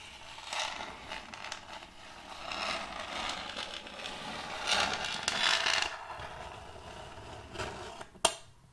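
Metal fingertip claws slowly scrape across the surface of a large, solid, round end-grain wooden board with a checkered pattern. Bright, dry scratching comes in uneven waves, with the strongest stretch near the middle. The clip ends with a single sharp, short click.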